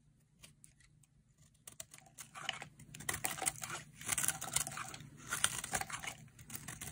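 A hand-sized, solid rectangular pink-and-white bar of dry soap, held in one hand, is carved with a metal utility blade, shaving off crisp flakes. After a quiet start, dense, bright scraping and cutting crackles build up in irregular bursts, with a faint low hum underneath.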